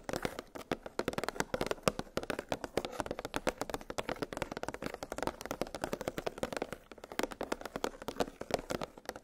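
Long pink nails tap rapidly on a clear, hollow plastic clamshell blister package that holds nested metal gingerbread cookie cutters on a cardboard backing. The result is a dense, continuous stream of quick, dry plastic clicks and ticks, centered in the mid range with very short ring and little low end.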